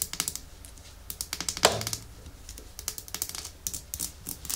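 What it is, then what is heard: Glass nail polish bottle. Long nails tap and scratch a small, full red Essie glass nail polish bottle with a white cap, held in the palm. About twenty sharp, bright clicking taps come in uneven bursts, with one louder knock near the middle that rings briefly, over quiet scratching between them.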